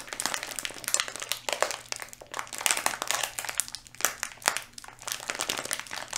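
Fingertips squeeze and rub a small, yellow, flexible plastic Skittles candy bag held close, and the bag appears full. The result is a steady stream of bright, dense crinkling and sharp crackles that rise and fall in bursts across the clip, with quick, dry decays.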